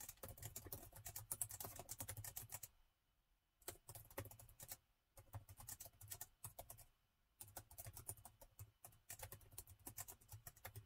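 Fast fingertip typing with both hands on the black plastic keys of a gold metal-look laptop with a hollow body. Rapid bursts of short, bright clicks over a soft low thump come in several runs, separated by brief quiet pauses.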